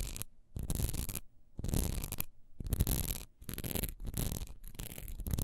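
Long nails quickly scratch the bumpy, textured side of a single solid wax pillar candle held horizontally in a hand. The result is a series of dry, rasping scratch bursts with brief pauses between them, carrying a deep rumble underneath and a bright hiss on top.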